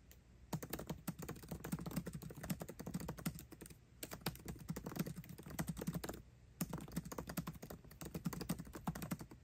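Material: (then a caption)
Plastic. Fingertips of both hands type fast on the built-in keyboard of a MacBook Pro, with plastic keycaps over scissor switches in an aluminum laptop body. Dense runs of short, soft clacks with a low thump and a bright tick on each stroke come in three bursts separated by brief pauses.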